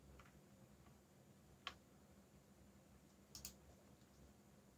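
Fingertips type slowly on a backlit mechanical keyboard with black plastic keycaps. A few sharp, bright clicks stand out from a quiet, steady low background noise, with the last two strikes landing close together near the end. Each click dies away almost instantly.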